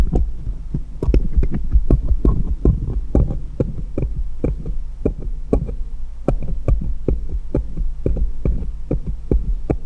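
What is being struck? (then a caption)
Small steel jeweller's screwdrivers. Fingers hold one small solid steel jeweller's screwdriver and tap it against others lying in a pile. Many quick, short metallic taps land in an irregular rhythm, each with a thudding low body and a faint bright click that dies away almost instantly, over a steady low hum.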